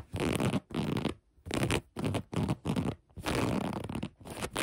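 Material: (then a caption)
Cotton fabric. Long nails scratch the fabric and elastic waistband of light gray cotton sweatpants, making dense, scratchy rustling in repeated bursts separated by short near-silent pauses. The scratching is full and mostly low, with a soft papery hiss on top and one longer continuous stroke near the end.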